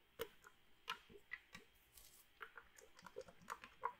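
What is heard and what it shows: A small red metal drink can that seems to hold some liquid is held in one hand near the microphone and shaken or tapped with the fingers. Quiet, sharp ticking taps and light clinks come at irregular intervals, with bright metallic edges and a faint ring near 1 kHz that fades almost at once.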